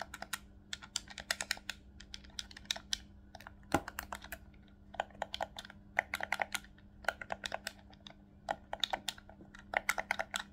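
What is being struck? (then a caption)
Plastic game controller. Fingertips and thumbs press the face buttons and sticks of a hollow black plastic Nintendo Switch Pro controller, seen from the front, producing rapid, sharp, bright clicks in uneven bursts. A faint steady low hum runs underneath throughout.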